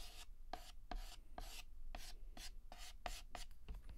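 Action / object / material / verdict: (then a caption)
scrape / chalk stick on a chalkboard / chalk / none. Fingertips hold a yellow chalk stick and shade a petal on a flat, solid black chalkboard with rapid, short scratches. Each stroke is a bright, dry, scratchy burst that stops almost at once, repeating in a quick, steady rhythm over a quiet, low background rumble.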